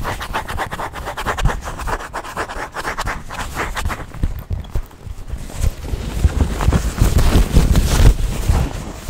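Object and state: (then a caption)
Quilted leather handbag. A small black quilted leather handbag is scratched, rubbed and tapped with nails and fingertips close to the microphone. Quick scratchy strokes repeat at roughly two per second over a heavy low rumble of close contact, with faint brighter scraping on top. The strokes grow denser and louder in the second half.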